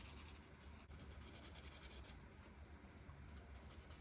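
A white marker's felt tip is rubbed in short strokes by a hand with long red nails over a thin printed paper coloring page lying flat on a table. The result is a quiet, continuous scratchy rubbing with bright hissy bursts over a steady low hum, briefly pausing just before the one-second mark.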